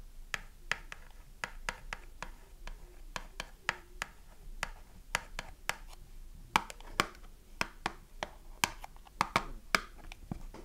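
Long nails scratch and tap the printed cardboard back side of a small, closed cardboard soap box with the bar of soap inside. Sharp, dry taps with very short decay stand out over a soft, continuous scratching, about 27 distinct hits in all.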